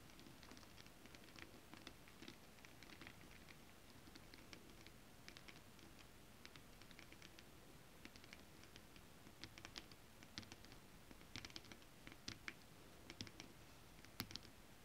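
Long acrylic nails on both hands tap fast on a flat piece of holographic foil-printed mermaid scale fabric. The result is a steady, quiet patter of crisp, bright clicks over a soft low-frequency rumble. Scattered taps stand out louder toward the end.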